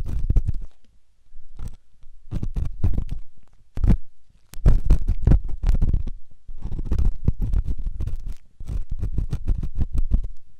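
A flat-tipped stainless steel ear pick, held in the fingertips, slowly scrapes and scratches the inner ear area of a white, soft, rubbery silicone ear-shaped microphone. The result is close, muffled, deep rumbling scrapes and dull thumps in dense bursts separated by brief pauses, with almost no bright content.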